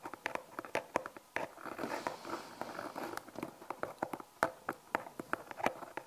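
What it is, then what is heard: Cardboard box. A small, hollow brown Magenesis cardboard product box, with its contents unseen, is held in both hands and tapped and scratched with long painted nails. Crisp, dry clicking taps are interrupted in the middle by a stretch of softer, papery scratching, then quick, sharp taps resume. Each tap is short and bright with almost no ring and no low-end weight.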